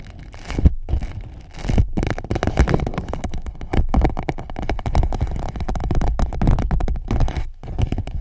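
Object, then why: Thin PVC plastic pouch. An empty clear PVC pouch wrapped around a microphone is tapped and scratched by long nails. Close, dense crinkling and scratching come with rapid soft taps and a heavy low thump, broken by a few brief pauses.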